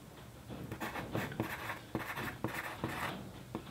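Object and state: Pencil writing on a paper sheet.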